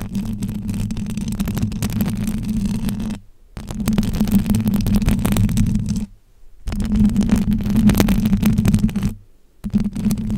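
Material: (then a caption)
Metal mesh. Both hands with very long acrylic nails scratch and rub the silver metal wire-mesh grille of a hollow microphone head, producing a dense, rapid rasping with a heavy low rumble and a steady hum near 200 Hz. The scratching comes in three long bursts separated by brief near-silent pauses.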